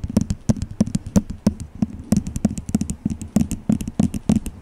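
Fingernails tap quickly on a small, hollow, empty white disposable plastic cup held over the microphone. About 28 short, dry, hollow taps come in an uneven, rapid patter, each with a low knocking tone near 200 Hz and a faint bright click. The taps die away almost at once, with no ring.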